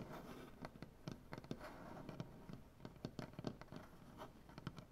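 Both hands scratch and tap a large solid wooden butcher-block tabletop with dark painted fingernails. Quiet, dry, short taps and bright nail clicks come in an uneven run over a soft, continuous scratching rasp. Each tap dies away almost at once, with a low woody body under the click.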